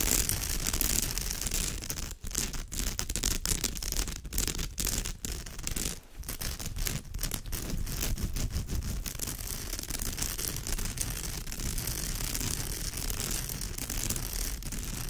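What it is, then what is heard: Woven straw bag being scratched. Long almond-shaped nails scratch along the woven rows of a woven straw bag, making a steady, dense, crackly scraping with a bright rasp over a low rumble. The sound has a few brief dropouts early on before settling into continuous scratching.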